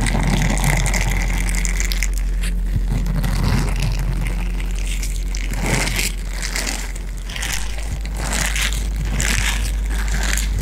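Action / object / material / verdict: scrape / small hollow silicone cup / silicone / none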